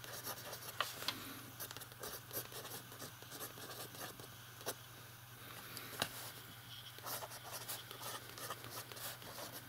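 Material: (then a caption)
Paper. A fountain pen writes on a blank page of an open lined paper notebook while the other hand's fingertips rest on the page. The nib gives a soft, bright, continuous scratching with quick strokes and occasional sharp ticks, over a steady low hum.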